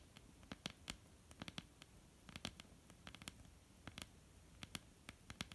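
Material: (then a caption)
Wood. Long almond-shaped painted nails of both hands tap quickly and irregularly on a flat solid wooden tabletop. The taps are short, crisp and bright, with a faint low knock under each one. They stop dead with almost no ring over a quiet background hiss.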